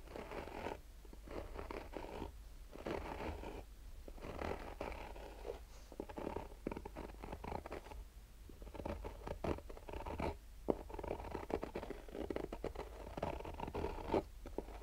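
Short painted nails slowly scratch the black mesh-fabric side of a hard-shell sunglasses case held in the hands. The result is quiet, raspy mid-range scratching in repeated strokes and bursts over a steady low rumble, with occasional sharper ticks.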